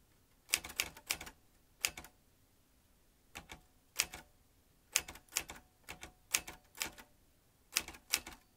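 A vintage metal manual typewriter with round metal-rimmed keys and metal typebars is typed with the fingertips of both hands. Bursts of sharp, bright clacks come in quick clusters, separated by short quiet pauses. Each strike is crisp and dies away almost instantly, with very little low end.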